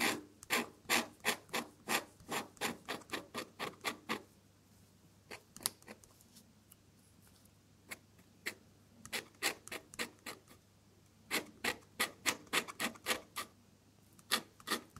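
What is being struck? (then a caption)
Drawing paper sheet with metal dip pen nib. A metal dip pen nib scratches quick, repeated hatching strokes across a flat off-white sheet of drawing paper with red flowers. Short, bright, raspy scrapes come in bursts: a fast run for the first four seconds, then scattered strokes, then another run near the end.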